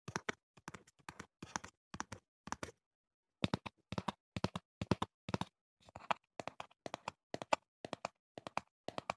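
Fingertips and short nails tap on the sides of a small, hollow, printed cardboard retail box of foam earplugs held in hand close to the mic. Quick clusters of dry, hollow taps and light nail clicks die away almost instantly, with a brief pause near the three-second mark before the tapping resumes.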